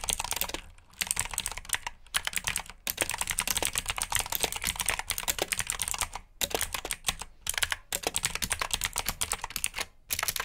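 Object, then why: Plastic mechanical keyboard. Fingertips type steadily on the keycaps of a black plastic mechanical keyboard with blue switches, producing fast, bright clicky keystrokes. The typing comes in bursts separated by brief pauses.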